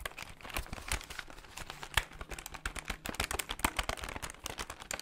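Fingertips tap quickly on the plastic buttons of a plastic desktop calculator held beside the mic. The result is a rapid, uneven stream of short, dry clicks with bright crinkly tops and little ring, plus a faint low hum in the middle of the clip.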